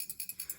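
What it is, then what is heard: Camping stove shaken, built-in jet-cleaning needle rattling. A liquid-fuel camping stove is shaken so the small built-in metal needle in its fuel jet rattles, clearing out carbon built up at the jet when the stove won't stay lit or won't make a blue flame. Six quick, faint, high-pitched metallic rattles are heard in a steady rhythm.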